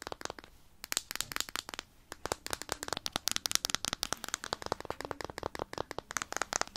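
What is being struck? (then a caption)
Small plastic jar. A small, round, closed plastic jar of petroleum jelly with a blue plastic lid, apparently full, is held in the hands and tapped and scratched all over with long painted nails. Dozens of sharp, bright plastic clicks and taps come in quick, uneven bursts, with a brief pause near the two-second mark. Each tick is dry, with no ring afterward.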